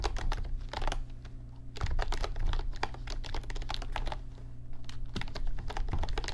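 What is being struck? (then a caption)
Plastic computer keyboard. Fingertips type rapidly on an RGB backlit computer keyboard with plastic keys, producing a dense run of short, bright clicks with a brief lull about a quarter of the way through. A steady low hum sits underneath the typing throughout.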